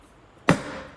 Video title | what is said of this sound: How to Properly Install Hubcaps and Skirts | When it's down, it thunks. It's a deeper, lower noise